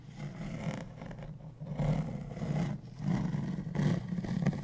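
A large, hollow beige hard-shell plastic suitcase, held upright, is tapped and scratched along its edge with fingertips and nails. Low, hollow thumps mix with dry, scratchy rasps in uneven bursts that rise and fall over a faint bright hiss.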